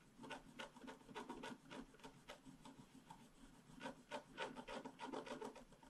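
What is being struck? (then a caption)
Black-coated scratch-art paper scraped with a stylus. Fingers holding a small stylus scratch the black coating of a flat scratch-art card, a solid sheet in a book lying on a table. The result is a quick, uneven series of short, dry, raspy scratching strokes with a faint papery tone and a bright hiss, with no ring after each stroke.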